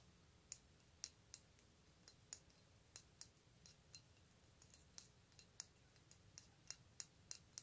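A solid, hand-sized silver metal bat pendant on a metal chain is handled and moved with the fingertips, so the chain and pendant click together. About twenty quiet, sharp, bright clicks sound at irregular intervals over a soft hiss, each dying away almost instantly.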